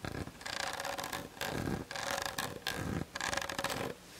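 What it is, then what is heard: Plastic camera body scratched and tapped with nails. Long nails tap and scratch rapidly on the hollow plastic body of a Canon DSLR on a tripod, including the top near the lens, picked up by the camera's built-in mic. Dense bursts of dry rubbing and scraping clicks come in waves separated by brief quiet gaps, with a faint steady tone near 540 Hz. The texture stays bright and scratchy with little low end.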